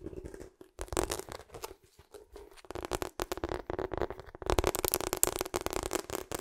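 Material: Rubber.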